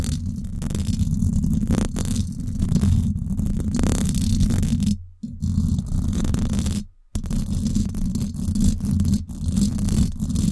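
Long acrylic nails scratch the hollow, silver woven-wire dome grille of a Blue Yeti microphone. The result is a dense, continuous, low rumbling scrape with little high-end, broken by two brief dips to near silence around the five- and seven-second marks.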